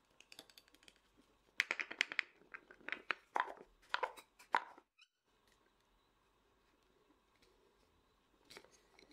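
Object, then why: Small lacquered wooden nesting doll. Fast fingertip and nail tapping, quick enough to blur, on the body of a small, hollow, painted and lacquered wooden matryoshka nesting doll. It makes dry, sharp, clicky taps with a bright edge and almost no ring, coming in dense bursts through the first five seconds. A near-silent stretch with faint hiss follows, then a brief final flurry of taps near the end.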